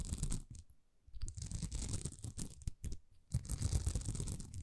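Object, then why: Plastic rhinestone sticker sheet. Long nails scratch a thin, flexible sheet of small plastic rhinestone stickers that is bent slightly. The result is bursts of dry, rasping scratches with a heavy low rumble and a bright, hissy top. Short, quieter pauses separate the bursts.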